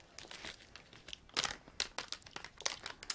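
Fingers crinkle and shake a flexible, medium-sized printed plastic Sour Patch Kids candy bag, apparently filled with candy, held up close. A steady run of bright, high, papery crinkles and sharper crackling bursts stops dead after each one, with almost no low end.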